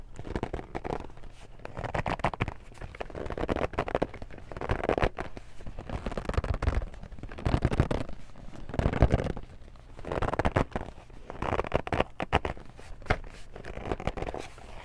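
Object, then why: Cardboard board game box. Fingertips and long nails grip, tap and scratch the front cover of a medium, hollow Family Feud cardboard board game box. Dense, scratchy crackling comes in swelling waves over hollow, low, boomy thumps, with each sound dying away almost at once.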